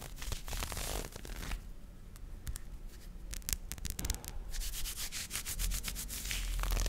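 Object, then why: Nylon fishnet mesh arm warmer on a forearm. Fingertips rub and scratch a pink nylon fishnet mesh arm warmer worn on the forearm, its thin net fabric stretched over the skin. Dry, bright scratching comes in dense bursts, with a quieter stretch of sparse, crisp ticks in the middle before the rubbing builds back up, all over a steady low rumble.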